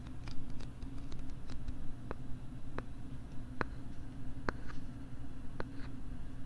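Fingernails scratch the plastic back of a pink plastic LCD writing tablet, held close to a microphone with its back side facing out. Short, sharp scratching ticks sound at irregular intervals over a steady low hum.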